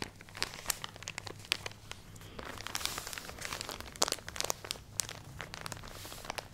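A full plastic package of cotton pads is crinkled and scratched with fingernails, giving bright, dry crinkling and scratching with sharp, irregular crackles that stop instantly. A faint steady low hum sits underneath throughout.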